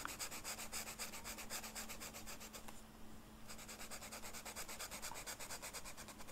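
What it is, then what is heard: Velvet-flocked paper being colored with a marker. The felt tip of a blue marker rubs across a flat black velvet-flocked paper sheet in small back-and-forth coloring strokes. It makes a quick run of soft, bright, scratchy brushing sounds over a faint steady low hum. The strokes pause briefly about halfway through, then resume at the same pace.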